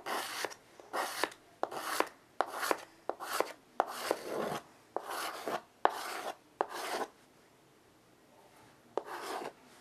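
A child draws repeated curved strokes with white chalk on a small wood-framed chalkboard resting on carpet. Rhythmic, bright, gritty scratches are heard, each with a sharp tap as the chalk meets the board. A pause follows before one final stroke.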